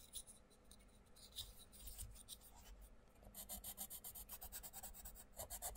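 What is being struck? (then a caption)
Wooden coloured pencil on a paper colouring book page. A wooden coloured pencil scratches and rubs rapidly over the paper page of an open paperback colouring book, The Mindfulness Colouring Book, lying flat, using the same pencil throughout while the other hand rests on the right page. Quiet, uneven scratching gives way after about three seconds to a fast, steady run of bright, hissy back-and-forth strokes over a faint low rumble.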